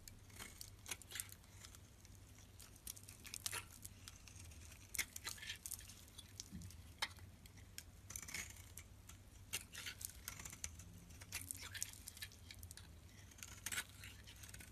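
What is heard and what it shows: A metal utility-knife blade shaves curls off the top of a solid lilac oval bar of soap held in a hand. The result is a quiet series of bright, crisp scraping strokes with short crackly bursts, set over a faint low hum.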